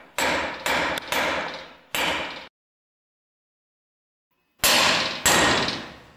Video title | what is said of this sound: Differential Drive Pinion R & R Part 2 | you hear how solid that sounds usually means it's seated